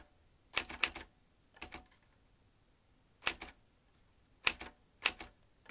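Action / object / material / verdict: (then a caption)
tap / metal manual typewriter / metal / none. Fingertips tap the keys of a vintage metal manual typewriter with exposed metal typebars and a ribbon spool. Its bright, sharp clacks come in quick pairs and clusters separated by brief pauses, each snapping off almost instantly with almost no low end.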